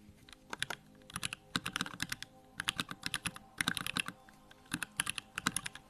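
Fingertips type rapidly on a small 65% Bakeneko65 mechanical keyboard with Durock lavender switches, a plastic case and pink-white plastic keycaps, resting on a wooden desk. Quick bursts of sharp, bright clacks with a low thocky body come in clusters separated by brief pauses, each keystroke ending almost instantly.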